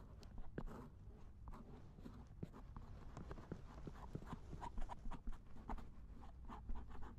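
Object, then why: Silicone ear of a binaural dummy head microphone, scraped with a wooden ear pick. A thin wooden or bamboo ear pick scrapes the silicone ear of a binaural dummy head microphone lying in a lap. The result is close, muffled scratching and rubbing with soft clicks, dominated by deep low rumble.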